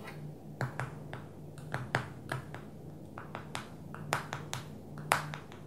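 Long fingernails tap on the glass touchscreen of a small black smartphone lying flat on a table. A quick, irregular series of crisp, bright clicks rises above a steady low hum, each tap ending almost at once.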